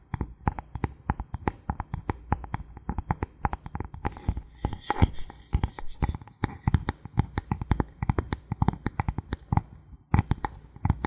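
A thin, flat, solid bamboo board held in the hand is tapped and scratched by fingertips and nails in a fast, steady stream of short, dry knocks. Each tap dies away almost instantly with a low, woody thump, and a busier patch of scratchy texture mixes in near the middle. The tapping stops briefly just before the ten-second mark, then picks up again.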